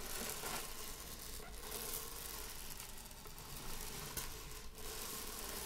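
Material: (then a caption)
Buckwheat. Long acrylic nails scratch and rake through a small heap of dry buckwheat grains spread loose on a wooden table. A steady, gritty rustle and patter of shifting grains fills the clip, with a low hum underneath and brighter scratchy swells.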